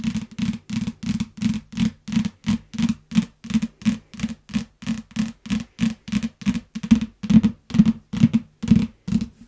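A yellow paperback book in plastic wrap lies flat and is tapped and scratched with long nails. It makes a steady run of short, separate rustling, crinkly strokes with a low thump-like body around 200 Hz and faint high hiss, repeating roughly twice per second.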